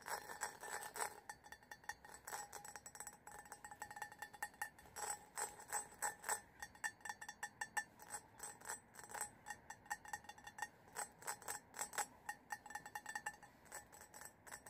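A large, hollow, faceted cut-crystal glass vessel that appears empty is held in both hands and tapped with fingertips and nails. A long run of quick, quiet, clear glass clinks follows, each a short bright ring around 1.8 kHz that dies away almost at once.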